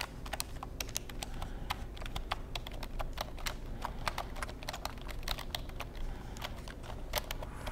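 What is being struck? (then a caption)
Plastic computer keyboard. Fingertips tap and type on the keys of a black plastic computer keyboard in a quick, uneven run of short, crisp clicks with bright tops. The clicks die away almost instantly over a steady low rumble that runs through the whole clip.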